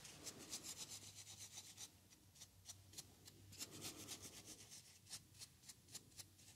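A small white foam paint roller sleeve, a hollow cylindrical tube with a red core at the end, is scratched and rubbed along its surface with a wooden craft stick. Rapid, uneven strokes make a dry, bright scratching rasp with soft, short-lived swishes.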